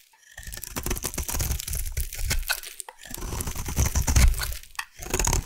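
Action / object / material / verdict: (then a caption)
scrape / bar of soap cut with a metal blade / soap / none. A metal blade carves into a solid pink bar of soap, making dense, crunchy shaving and crackling sounds with a deep low thud underneath and bright crisp detail on top. The scraping runs in bursts, with brief pauses near the three-second mark and again just before the end.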